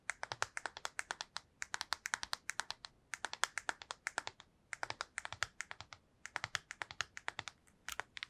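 A small black PSP-style handheld game console with a hollow plastic shell and glossy screen is held in the hands and tapped quickly with long acrylic nails. Dozens of short, dry, bright clicking taps come in rapid bursts separated by brief pauses, with almost no low end. Each tap stops almost instantly, with no ring.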